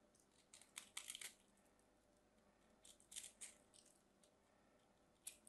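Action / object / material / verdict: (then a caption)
scrape / bar of soap carved with a small knife / soap / none. A small craft knife carves and scrapes the corners of a solid mint-green bar of soap held in hand, and crumbly chunks fall off. Quiet, bright, crisp scraping and crunching come in short bursts, clustered near the start, the middle and the end, with near silence between them.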